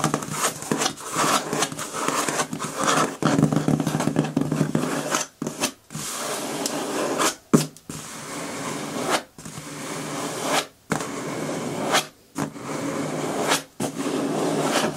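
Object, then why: Corrugated cardboard box. Long nails scratch and tap along the taped top seam of a medium, closed, hollow corrugated cardboard shipping box. The result is a steady papery scraping with bursts of tapping, broken by brief pauses.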